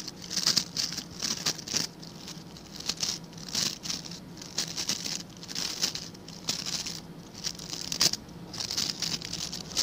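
Fingertips scratch and flick the stiff white and blue plastic bristles of a hand-sized blue plastic scrub brush. The result is a steady run of bright, crackly scratching bursts and quick flicking ticks that swell and fade in waves. A faint low hum sits underneath.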